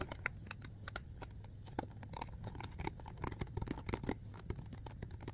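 A hollow clear plastic alkaline water bottle with a blue cap is held in both hands and quickly gripped and tapped with the fingertips. The result is a rapid, irregular stream of short, dry clicks and crinkly crackles over a soft low rumble, with each tap dying away almost instantly.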